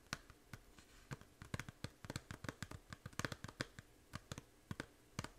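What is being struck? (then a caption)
Small plastic game case. A small, hollow plastic 3DS game case for Fantasy Life, held in both hands, has its front tapped and scratched with long nails. The result is a quiet, irregular run of sharp, dry clicks with a hollow low body and bright tips, each dying away instantly, with faint scratching between the taps.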